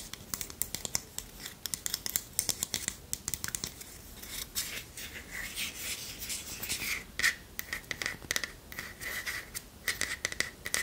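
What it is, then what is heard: Wooden spoon scratched and tapped with nails. Long nails scratch and tap along the handle of a long, thin, solid wooden spoon, making a dense run of bright, crisp scratches and sharp little ticks. The clicks land quickly and die away almost at once, with a faint steady whistle-like tone coming through in the second half.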